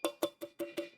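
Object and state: Steel object with a metallic ring.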